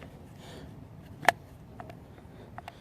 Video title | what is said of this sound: Mora Bushcraft Black in The Outdoor Arena | there's a little bit of rattle. You might eventually be able to shake it out, but it stays in pretty well